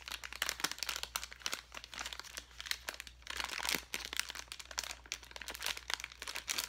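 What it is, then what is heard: Plastic bag of foam letters. A clear plastic bag full of foam letters is held in the hand and crinkled and squeezed with the fingertips. It makes dense, bright, crackly crinkling in quick bursts, with a faint steady low hum underneath.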